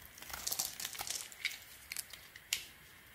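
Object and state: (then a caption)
Bar of soap being scraped. A small metal blade, held in a hand with a gauze-wrapped fingertip, scrapes and cuts shavings off the edge of a solid oval bar of light blue soap with blue swirls held in the other hand, curling flakes off as it carves. The clip is a run of short, crisp, bright scraping and crinkling cuts with almost no low end, ending in a sharper, louder slice near the end.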